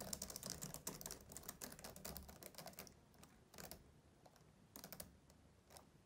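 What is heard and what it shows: Both hands with short-nailed fingertips type fast on the low chiclet keys of a black plastic laptop keyboard on a closed-deck laptop. Dense, bright, short clicks tumble together for about three seconds, then thin out into scattered bursts of quieter keystrokes.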